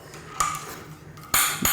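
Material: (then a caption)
Steel. A steel loading rod is shaken and bounced inside the barrel of a .45 XML muzzleloader rifle, checking that the barrel is empty before loading. Three sharp metallic clinks ring out bright and high-pitched as the rod strikes the breech. The clean bounce shows the barrel is empty.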